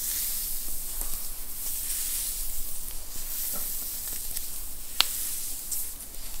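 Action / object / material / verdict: scrape / knit fabric T-shirt worn on a back / knit fabric / none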